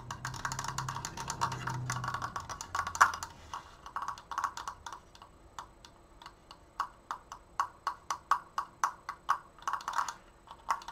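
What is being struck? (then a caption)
Wooden slat triangle frame. Fingernails tap fast on the sides and crossbar of a large, open triangular wooden triforce frame made of slats and held upright. For the first four seconds the taps blur into a dense, continuous clatter, then they break into distinct, sharp, dry knocks. Each knock has a hollow woody tone around 1.1 kHz, a bright click on top and almost no ring.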